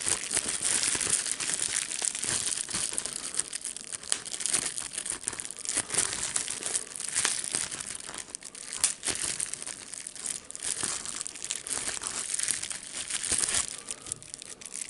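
A small clear plastic bubble wrap sheet is held in both hands up close while fingertips squeeze, pop and crinkle its air bubbles. A steady, bright crackling rustle runs throughout, broken by many short, sharp pops that die away almost instantly, with very little low end.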